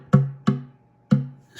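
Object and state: Thinned cedar oud top rings longer with a slightly higher tap tone.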